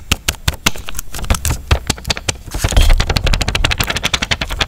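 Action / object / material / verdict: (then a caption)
tap / plastic water cup with foil lid / plastic / none. Fingertips and nails tap and scratch the ridged sides of a small, clear plastic cup of drinking water with a foil lid, full and sealed, as it is tilted in both hands over a wooden bowl. A rapid run of sharp, bright clicks sits over dull low thumps, and the scratching grows denser and louder toward the end.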